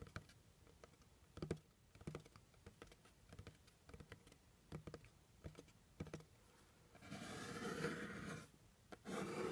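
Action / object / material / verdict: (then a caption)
tap / cardboard box / cardboard / none. Fingernails quickly tap the top of a medium, hollow, plain brown cardboard box in an irregular, typing-like pattern. The taps are short, dry clicks with a low, hollow body. About seven seconds in, they give way to louder, bright, sustained scratching on the cardboard, which pauses briefly and then resumes.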